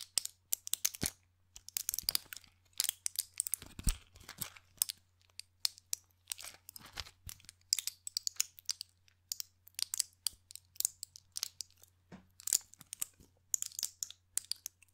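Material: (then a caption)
Plastic, foil. Fingertips and nails press, crinkle and tap the clear plastic bubbles of a small white pill blister pack with a foil backing, held close to the microphone. Dense, bright crackles and sharp clicks come in quick irregular bursts, each dying away almost instantly, over a faint steady low hum.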